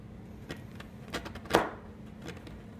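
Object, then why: Chalk stick cut with a steel knife blade. A solid green blackboard chalk stick, with pink chalk pieces nearby on a white surface, is chopped into pieces by hand with the blade of a large steel kitchen knife. The result is a series of short, dry, crisp knocks and crunches over a faint low hum, with the loudest chop near the middle.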